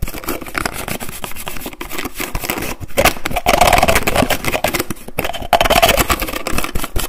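Fingertips rapidly tap and twist the cap of a white plastic lotion bottle held close to the mic. The result is a dense stream of fast, loud plastic clicks and scrapes, with a hollow tone around 700 Hz. Two louder bursts of twisting stand out in the second half.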